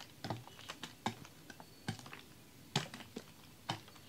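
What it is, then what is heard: Plastic water bottle with icy water. A large, clear, ribbed plastic water bottle with a red cap, holding frozen, icy water, is held in the hands and shaken. Ice knocks against the plastic in an irregular series of short, sharp, clicky taps with a soft low thud beneath each. The knocks die away quickly against a quiet background.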